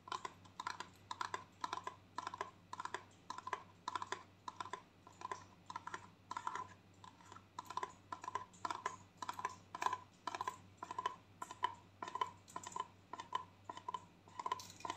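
A gold plastic conditioner tube held horizontally is tapped with long nails, giving quick, light clicky taps in irregular clusters. Each tap is short and dry, with a hollow tone around 1 kHz and a faint low hum underneath.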